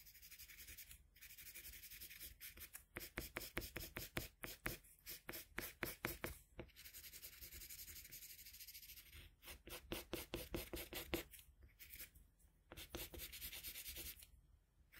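A colored pencil held in a metal extender rubs and shades across the face area of a sheet of flat white drawing paper in continuous strokes. The result is a quiet, dry, bright scratching that comes in rapid back-and-forth bursts of strokes, broken by brief pauses, with softer steady shading passages in between.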